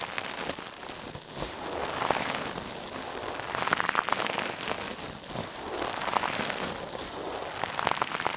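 A hand-sized, soft, silver metallic mesh scrub sponge, held in one hand, is squeezed and rubbed over a mannequin ear. A steady, dense crinkly crackling is heard, with bright sharp crackles popping out throughout and little low end.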